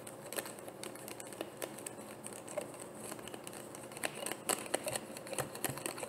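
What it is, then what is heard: Plastic bottle tapped with fingernails. Long painted nails tap quickly and irregularly on a frosted white plastic bottle with a black cap that looks hollow and partly filled. The taps are short, dry, bright clicks with a faint hollow tone around 570 Hz, growing a little louder and denser toward the end.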